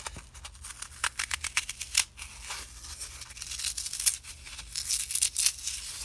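Both hands tear and crush the edges of a small, solid green block of dry floral foam with fingertips and nails, rubbing off crumbs. Dry, bright crunches and crackles come in quick bursts over a faint low hum.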